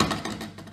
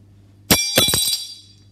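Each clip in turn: First: lead piece giving a dull thud when dropped. Second: aluminium piece, bright high ring.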